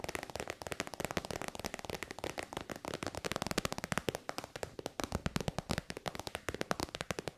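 Long white nails tap quickly on a hollow, shiny pink metallic faux-leather synthetic pouch. The result is a rapid, steady stream of crisp, dry clicks that stop almost instantly, with a light hollow body under brighter crackle.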